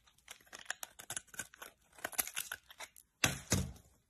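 A solid white oval bar of soap with a pink glitter remnant, held in the hand, is shaved with a metal utility-knife blade. Quick, irregular, crisp scraping and crackling cuts run for about three seconds, then two louder, fuller shaves end the clip.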